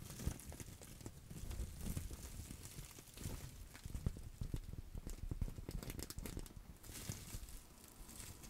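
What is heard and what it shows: A clear plastic bubble wrap pouch is scrunched and scratched with long acrylic nails. It makes a steady stream of soft crinkling, crackling and scratching, with quick dull taps and low thumps throughout.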